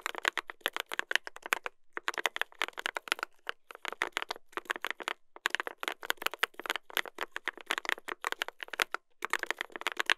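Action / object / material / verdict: tap / mechanical keyboard with brass plate and plastic keycaps / brass, plastic / none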